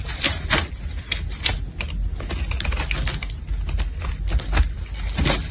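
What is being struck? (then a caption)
Bar of carbolic soap cut with a metal blade. A metal blade cuts crisp chips from a solid red carbolic soap bar held in a gloved hand. A steady run of sharp, dry, bright clicks and snaps rises over a low, dull rumble, and each short crack dies away almost at once.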